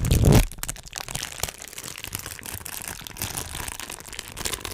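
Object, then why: Thin clear plastic bag. A small, thin, empty transparent plastic bag is pinched and crinkled between the fingertips of both hands close to a microphone. It opens with a loud, low, thumping rustle for under half a second, then settles into a quieter, steady stream of fine, bright crackles and sharp little clicks.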